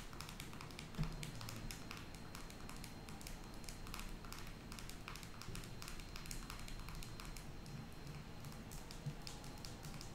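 A small white plastic squeeze tube with a blue cap, filled with cream, is held in the fingers and tapped with long acrylic nails. Quiet, quick, bright clicks patter almost continuously over a low, steady hum, with each tap dying away at once.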